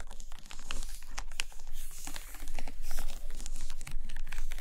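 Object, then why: Stack of hardcover books, paper and cardboard. Long painted nails scratch and tap the edges of a stack of about seven Russian hardcover paper books with cardboard covers, lying on a carpet with spines facing out, working from both sides. Dry, crinkly scratching runs almost continuously, dotted with soft, short taps and brief bright scrapes over a steady low hum.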